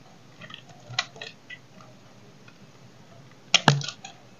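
A small knife cuts and scrapes a solid, oval, dry bar of soap held in the hand, breaking chips off it. Short, dry, crisp snaps and scraping crackles stand out with a bright edge against quiet pauses. The loudest cluster of cracks comes near the end.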